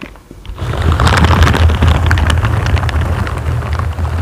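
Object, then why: Foam microphone windscreen. Two hands in purple and green silicone scrubber gloves with bristles slowly scratch and rub a large, dark grey solid foam windscreen on a microphone. After a quiet first half-second, a dense, deep, boomy rumble builds, with crackly, bright scratching specks on top. It stays steady and close to the end.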